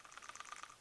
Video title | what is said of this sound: 3.6 Pentastar PCV Valve replacement Chrysler 300C | if you shake it you can hear that little valve in there